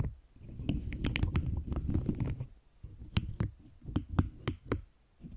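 Long green acrylic nails tap and click on a large cube covered in pastel pink and blue plastic keyboard keycaps, held in both hands. A quick flurry of soft, muffled low taps runs through the first half, then gives way to sparser, separate clicks with brief bright edges. The sound stays quiet and dull, with almost no ring after each tap.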